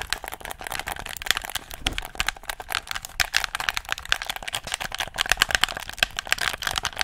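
Fingertips click the buttons and tap the shell of a handheld, hollow black plastic gamepad. The result is a quick, dense run of sharp, dry plastic clicks and taps that die away almost instantly. The sound is bright and thin, centered high around 1.6 kHz, with almost no low end.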